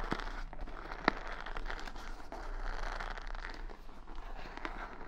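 Long nails scratch and flick the bristles on the padded side of a wooden paddle hair brush decorated with beads and rhinestones, held close to the mic. A steady, soft, dry crackling and rustling runs throughout, with one sharp, brighter click early on.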